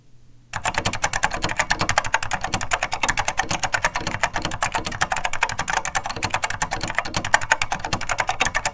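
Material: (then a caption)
Plastic. A beige plastic SORD M101 full-size vintage mechanical keyboard with linear Mitsumi switches is typed on continuously by two hands, with fingertips pressing and bottoming out the keys. After a half-second of quiet, a dense, steady run of short, bright plastic clacks follows, each with a light low thump beneath it.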